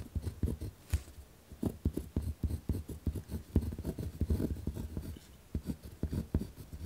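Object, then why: Paper notebook sheet on a wooden desk. A ballpoint pen pressed hard against a single torn-out spiral notebook page, lying flat on a wooden desk and held down by the left hand, scratches and writes across the paper. The result is a rapid run of short, dry, low-heavy scratching strokes with brief pauses between bursts.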